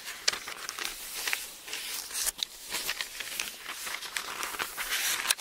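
A palm rubs across the thin paper page of an open Bible, then fingertips lift and turn the pages. The result is soft, bright, crinkly rustling with quick crackling peaks and almost no low end.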